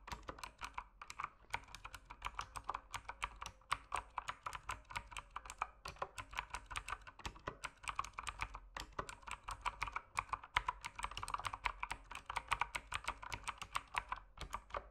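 Continuous fingertip typing on a mechanical keyboard with plastic keycaps, in dim light. Rapid, quiet clicks sharp and short-lived, centred in the midrange with a bright edge, over a faint low hum. The pace stays steady with small gaps throughout.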